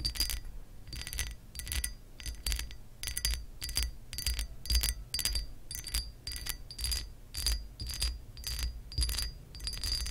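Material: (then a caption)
Glass. Long acrylic nails scratch across the raised pattern of a hollow, embossed glass lamp base. Short, bright, scratchy strokes with a faint glassy ring repeat at an uneven pace, layered over a low, steady rumble.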